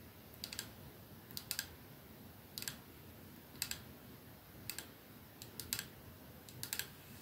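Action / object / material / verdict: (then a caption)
tap / glass perfume bottle with metal band / glass / none. Fingernails tap slowly on a capsule-shaped perfume bottle resting on a dark surface, striking its clear glass ends and silver middle band. Sixteen short, bright clicks come in small clusters of two or three, each dying out almost instantly over a faint steady hiss.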